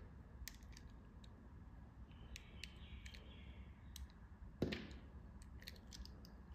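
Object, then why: Soft bar soap. A metal blade with a black handle slices and carves a palm-sized, flower-shaped piece of solid yellow soft bar soap. Faint crisp ticks and a soft, brushing scrape are heard over a low, steady rumble. A louder, sharp cut near the end rings briefly and fades quickly.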